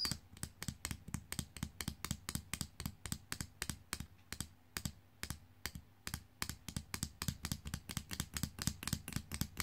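Long painted nails tap and scratch the plastic torso and legs of a small, hollow, jointed plastic fashion doll lying on a fabric sheet, with its hair and clothing possibly adding some sound. About forty quick, dry clicks come in a steady, typing-like rhythm, each with a hollow low knock and a bright, crisp tick that dies away almost instantly.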